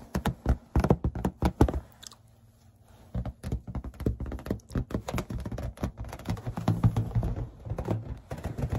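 Long red-painted fingernails tap rapidly on a hollow, air-filled green latex balloon held in the hand. The taps are dull, low thunks with a short ring, coming in quick irregular bursts with a brief quiet pause after about two seconds.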